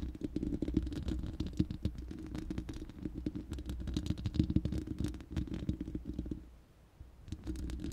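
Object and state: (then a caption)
Metal microphone grille being scratched. Long nails scratch the bare, hollow round steel mesh grille of a studio microphone, producing a dense, low, rumbling scrape full of quick crackling ticks. The scratching stops briefly near the end and then resumes.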